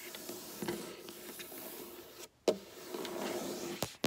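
Long black nails slowly scratch and rub along a flat, solid, dark wooden tabletop, producing a steady soft rasping texture. Sharp, bright clicks of the nails striking the wood break through, most clearly after a brief silence near the middle and again near the end.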